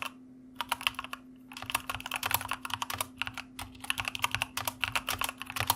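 A white plastic mechanical computer keyboard is typed on with the fingertips of both hands, giving rapid, bright, clicky keystrokes with very short decay. The keystrokes come in quick bursts separated by brief pauses, over a faint steady low hum.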